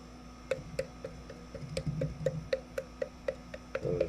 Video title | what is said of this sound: Blacksmithing in the Foundry? Forging a New Pouring Shank | It's going to fall apart just from tapping on it.